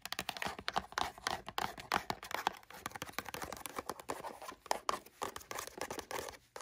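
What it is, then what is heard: Cardboard toy box. Long burgundy nails tap quickly on the top and sides of a small, closed, hollow printed LEGO cardboard toy box. The result is a rapid, continuous patter of dry, crisp clicks with a hollow papery tone around 855 Hz and very little low end. Each tap dies away almost instantly.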